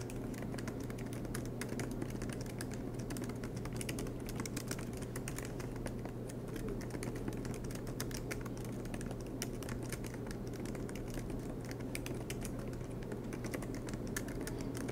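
Fingertips of both hands type rapidly on the black plastic keycaps of an aluminium MacBook Pro laptop resting on a desk mat. The result is a dense, steady stream of quick, soft clicks with bright transients over a constant low hum.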